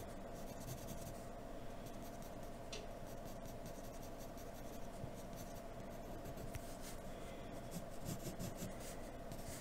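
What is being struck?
Graphite pencil on drawing paper.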